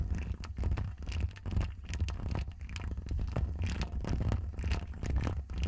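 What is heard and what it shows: Long acrylic nails of both hands scratch the woven metal mesh grille of a bare Rode NT1 condenser microphone with a hollow head. A dense, continuous run of raspy scrapes and crackles rides over a heavy, booming low rumble, with brief bright streaks from the faster strokes.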